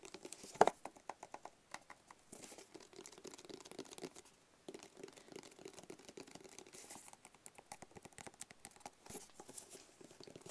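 A hollow, rigid black cardboard box is tapped with fingertips and nails close to the camera. The result is a steady, quiet stream of quick, dry taps and light scratchy clicks with a hollow mid-range tone and almost no low end, with one louder tap near the start.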